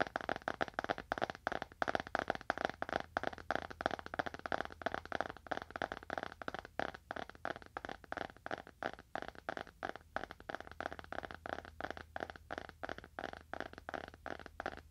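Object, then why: Leather-bound book. A small, dark, solid leather-bound book is held horizontally in both hands and tapped on its cover and spine edge with the fingernails of both hands. The result is a rapid, steady stream of short, dry clicking taps with a midrange, woody tone and almost no ring.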